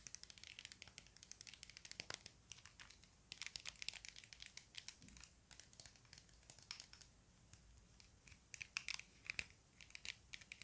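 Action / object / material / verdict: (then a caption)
tap / plastic puzzle cube / plastic / none. A small, solid-feeling plastic Rubik's cube with a hollow-core mechanism is held up close in both hands while fingertips and nails tap and scratch its faces. Dense, rapid, bright clicks and crinkly scratches come in quick clusters over a quiet background, each one dying away instantly with almost no low end.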